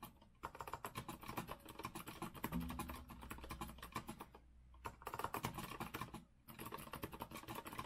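Both hands type with their fingertips on an Azio rose-gold retro mechanical keyboard with a metal frame and round plastic keycaps. Rapid, crisp clacking keystrokes come in quick bursts, broken by short pauses near the start, middle and toward the end. A faint low hum sits under the typing through the middle of the clip.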